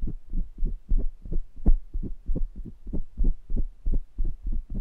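Fingertips tap and rub the round metal wire-mesh grilles of two identical small pencil condenser microphones at the same time; the mics have hollow capsule heads and metal bodies. The result is a quick, uneven series of dull, muffled thumps, about three per second, each dying away almost instantly. Nearly all the energy sits in a deep, boomy low end with no bright top.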